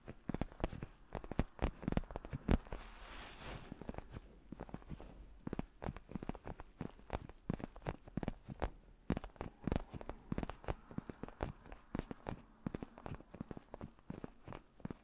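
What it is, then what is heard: Faux leather neck pillow being scratched and tapped. A black padded faux-leather neck pillow is held in both hands in front of the mic while fingertips and nails scratch and tap its surface. Rapid, soft, dull taps and short scratchy rustles run steadily throughout, mostly low in tone, with a brief brighter scratching wash near the three-second mark. Each tap dies away almost instantly, leaving a quiet, close, continuous texture.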